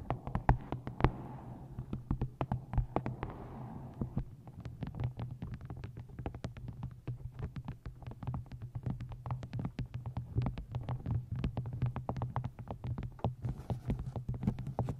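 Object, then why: Paperback book, paper and card cover. Long painted fingernails tap and scratch along the top edge of a medium paperback book, "I Hate Dolphins", a solid stack of paper in a card cover held upright above the microphone. Scratchy, rustling strokes in the first few seconds give way to a dense run of quick, dry, close-up taps. A steady low hum sits beneath the taps throughout.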